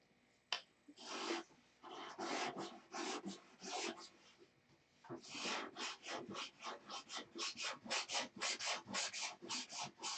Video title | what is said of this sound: The real work begins "Tucker Special" | you can hear it. It's pretty gritty.